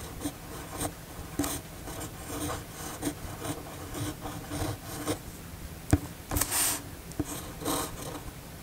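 The steel nib of a red fountain pen writes cursive across a flat white paper sheet, making a continuous soft scratching with a low, faint rasp. Sharper ticks and brief strokes stand out along the way, and a brighter, airy swish rises near the end.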